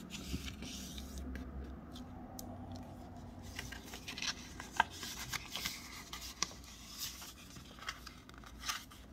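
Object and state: Wrapping paper being folded.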